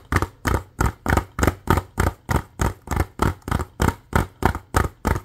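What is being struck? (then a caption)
Plastic DVD case. A hollow plastic DVD case with a printed cover sleeve is held in both hands and tapped and scratched with fingernails. Eighteen quick, dull, hollow knocks come in a steady, slightly uneven rhythm, each with a low thump and a short, dry decay.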